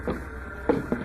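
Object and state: Cardboard carton with a loose ball inside.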